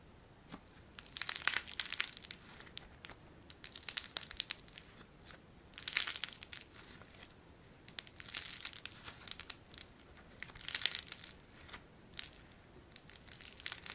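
A palm-sized, soft, solid lump of yellow foam-bead clay (floam) is squeezed, pressed and stretched by fingertips and thumbs with short painted nails. Bursts of crinkly, crackling pops sound, mostly bright and high with almost no low end, rising and fading in clusters between quiet pauses.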